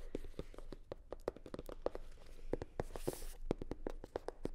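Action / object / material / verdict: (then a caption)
tap / hard-shell sunglasses case covered in faux leather / faux leather / none. A hollow, navy blue hard-shell sunglasses case covered in faux leather is tapped and scratched with long nails. The taps come as a quick, uneven run of soft, dull knocks around 370 Hz that die away almost instantly. A brief bright, hissy scratch is heard just after the three-second mark.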